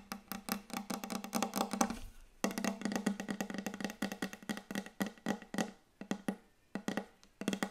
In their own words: ASMR Very Very Fast Wooden Table Tapping